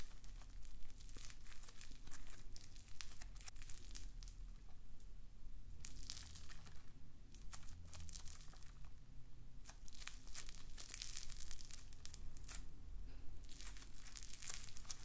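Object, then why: Polystyrene foam beads in slime. A handful of pink floam, polystyrene foam microbeads in a solid, pliable slime mass, is kneaded, squeezed and pulled apart by fingertips with painted nails close to the mic. Dense, crunchy, bright bead crackles and crinkles come in continuous bursts over a steady low rumble.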